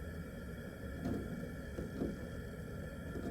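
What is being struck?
Nothing is struck.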